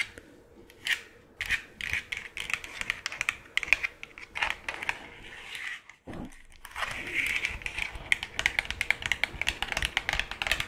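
A hollow plastic skull decoration, held close to the mic, is tapped and scratched with long claw nails. Quick, bright clicking taps ring around 2.5 kHz, with scratchy rustling between them and a brief quiet gap near the middle before the tapping picks up again.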